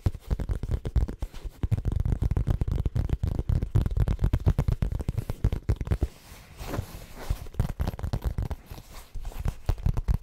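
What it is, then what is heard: Faux leather pouch, scratched and tapped. A small brown monogrammed faux leather zip cosmetic pouch, held close to the microphone, is scratched and tapped on its hollow outer surface with fingertips and nails. The result is a dense, rapid stream of dull, low, thumping scratches with almost no high end. Around the six-second mark it briefly turns into a softer, quieter rustling before the quick tapping picks back up.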